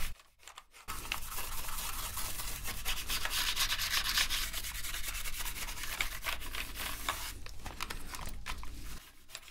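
A toothbrush held in gloved hands scrubs the keycap tops and the gaps between keys on a black plastic gaming keyboard. After a brief quiet start, a steady, bright, scratchy brushing hiss runs for about eight seconds over a low rumble, then drops away near the end.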